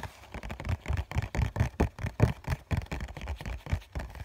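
Fingertips tap a hollow COCON cardboard tissue box, first on its bottom face and then on its end face. About 18 soft, dull, hollow thuds arrive in a quick, uneven rhythm, mostly low in pitch with a faint papery scratch, and each dies away almost instantly.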